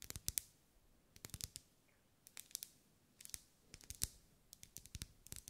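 Long acrylic nails tap and scratch a lit pink ribbed solid wax pillar candle. Quick bursts of sharp, bright clicks and short scrapes come in small clusters, each dying away almost at once, with quiet gaps between. The overall level is soft and weighted toward high, crisp tones.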